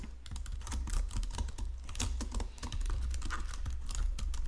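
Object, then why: Plastic computer keyboard. Fingertips and nails type rapidly on a white plastic Logitech keyboard resting on marble. Quick, dry clicks and clacks with bright edges run continuously over a steady low hum. Each keystroke ends almost instantly.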